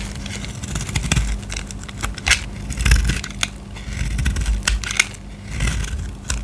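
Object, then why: Bar of soap cut with a knife blade. A utility knife blade scrapes and cuts into a solid purple bar of soap held in the hand, making crisp, crackling scratches and sharp bright snaps in quick, uneven bursts. A steady low hum runs underneath throughout.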